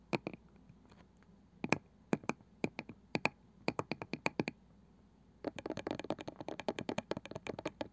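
Fingertips and long nails tap and scratch the pale wooden lid and rim of a small, palm-sized round wooden box with a woven side. Sharp, dry clicks come in scattered pairs and short bursts, followed by a brief pause. A fast, dense run of tapping and scratching carries to the end, each click dying away almost at once.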